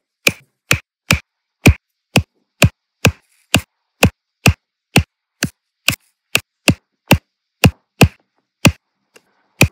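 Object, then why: Resin drills pressed onto an adhesive canvas with a plastic drill pen. A plastic drill pen with a metal tip taps small solid round resin diamond-painting drills, one at a time, into place on a flat adhesive canvas. Twenty short, dry taps are heard, each a low thump with a bright click on top that dies away almost at once. They come at an uneven pace of roughly one every half second, and the last tap is much fainter.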